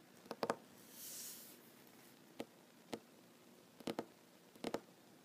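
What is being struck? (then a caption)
Wooden tabletop. Fingertips and short nails tap on a solid wooden tabletop, giving quiet, dry, clicky knocks that die away almost instantly. The taps come as a few single hits and short quick clusters spread across the clip. A soft, bright, breathy swish rises briefly near the start between the taps.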